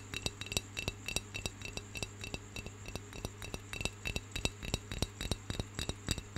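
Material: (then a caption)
Clay. Fingernails tap and scratch the outer surface of a round, hollow, unglazed brown clay pencil holder held in one hand. Quick, irregular, dry taps with almost no ring are heard over a steady low hum and faint bright tones.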